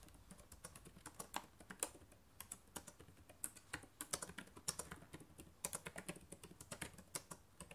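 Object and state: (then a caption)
Plastic laptop keyboard being typed on. Rapid typing with fingertips and nails on the plastic keycaps of a black laptop keyboard produces a fast, uneven stream of short, bright clicks and taps. Each keystroke dies away almost instantly, with a few sharper, louder clacks standing out above the quieter patter.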